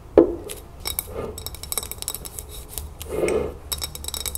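Long nails tap quickly on a full glass salsa jar as it is tilted and turned, striking both the glass body and the lid rim. The result is a series of sharp, bright clicks and clinks that die away almost at once, with a louder glassy ping at the start and a short mid-pitched ring later on. Soft rubbing sounds fill the gaps between taps.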